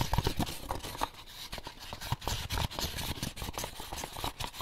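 Fingertips and short nails scratch and tap the lid and paper label of an empty, closed white molded paper pulp egg carton. The result is a quick, irregular run of dry taps and scrapes: hollow low thumps combine with bright, papery scratching, and each tap dies away almost instantly.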